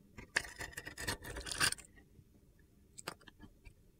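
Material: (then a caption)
Soap. A metal box-cutter blade carves flakes off the scored surface of a solid, palm-sized pink and blue glitter bar of soap. A dense run of bright, gritty scraping fills the first two seconds, then a short pause gives way to a few lighter scrapes and ticks.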